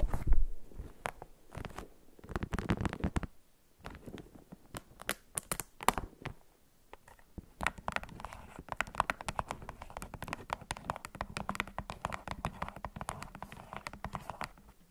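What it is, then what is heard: Plastic remote control. A white, hollow, hand-sized plastic LED remote control with rubber buttons lies on a wrap while long acrylic nails tap and scratch it. Dense, rapid clicky taps and scratchy strokes come in bursts with brief pauses, sounding dry and close with a low, thumpy body. They settle into a steady stream of tapping toward the end.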